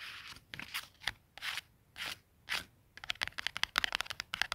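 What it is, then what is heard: Cardstock price tag. A small flat white cardboard clothing tag with a barcode and punched hole, lying on a plaid wool blanket, is scratched and rubbed with fingertips and short nails. It starts with slow, dry, breathy rubbing swipes, then shifts into quick, crisp, bright scratches and ticks with almost no low end.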